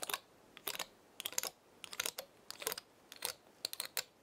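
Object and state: Dry pinecone.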